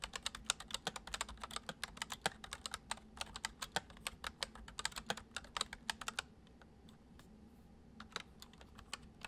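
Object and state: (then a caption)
Plastic computer keyboard being typed on. Fingertips type on a full-size white plastic computer keyboard resting on a wooden desk, including keys on the number pad. Quick, bright, crisp clicks run in a dense, steady stream for about six seconds, then thin out into slower, scattered taps over a soft low hum.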